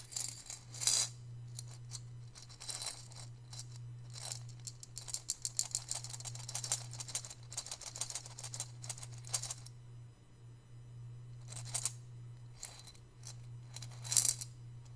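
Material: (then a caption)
Ceramic. A hollow, hand-sized white glazed ceramic piggy bank holding coins is held in both hands, tilted and shaken so the coins slide and rattle inside. The result is bursts of bright, clinking metallic rattles with quiet gaps between them, over a steady low hum.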